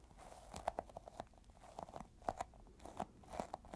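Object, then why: Small sticky rubber toy ball. Fingertips tap and pull at a small, solid, yellow sticky squishy rubber toy ball. A run of short, dry, crackly clicks and tacky pops comes from the fingers sticking and peeling off the surface. The sounds are quiet, centered in the midrange, and each one dies away almost instantly.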